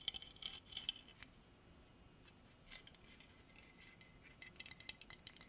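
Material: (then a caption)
Hardwood. A solid dark hardwood carving of a running horse on a base, about 30 cm long, is scratched and tapped with long artificial nails. Quiet, bright clicks and dry scratches come in scattered bursts with very short ring, the strongest taps clustered near the start.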